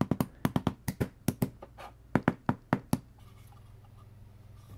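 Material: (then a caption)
MDF. A small, hollow, empty open-top box of thin laser-cut MDF or hardboard with finger joints is held in one hand over a cutting mat and knocked repeatedly with a black rubber mallet to seat the joints. Each strike is a dull, short, hollow knock with a low-mid body. The knocks come in a quick irregular series for about three seconds, followed by a faint low background hum.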